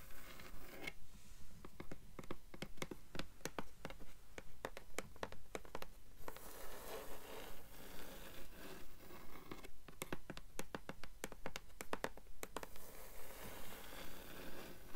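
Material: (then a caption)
Paper. Long nails tap rapidly on the blank endpaper inside the cover of a blue hardcover book. The result is a fast, fairly steady run of short, dry, papery clicks with some scratchy brushing between them. The sound is quiet, and each tap fades almost instantly.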